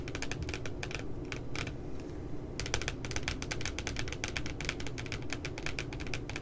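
Fingertips and nails tap rapidly along the bottom edge of a spiral puppy notebook with a glossy paper cover lying flat. The result is a steady run of crisp, bright, dry clicks over a low, soft thud, each dying away almost instantly, with a brief pause before the tapping resumes.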